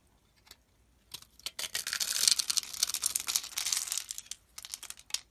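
A solid light green Nesti soap bar, rectangular with a grid-scored surface, is held in hand while a metal blade chips pieces off it. Dry, crisp scraping and crumbling bursts come in a quick, uneven series, bright and high with almost no low end. They build to a dense run in the middle before thinning out at the end.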